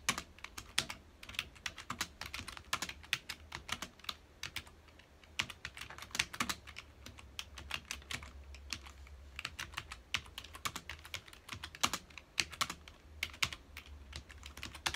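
Fingertips of both hands type on a full-size black plastic computer keyboard with hollow key housings, resting on a dark desk. Rapid, bright, clicky keystrokes come in uneven bursts, each dying away almost at once. A faint low hum runs steadily underneath.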